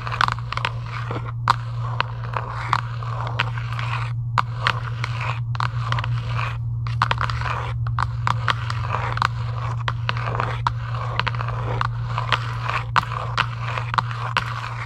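Long acrylic nails scratch and tap across a hollow Giant UNO cardboard game box lying flat, making dozens of quick, crisp scrapes and clicks with short crackly bursts. A steady low hum runs underneath the whole time.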